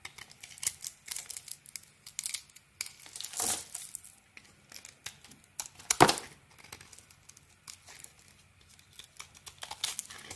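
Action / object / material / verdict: scrape / bar of soap scraped by a small razor blade / soap / none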